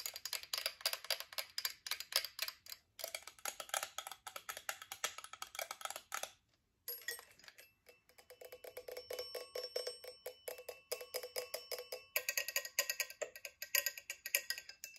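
Long acrylic nails tap quickly on the twin bells, hammer and frame of a chrome metal twin-bell alarm clock. Dozens of bright, clicky taps with very short decay run in steady bursts, broken by a brief silence around the middle. The later taps bring out faint metallic ringing tones near 2.3 kHz.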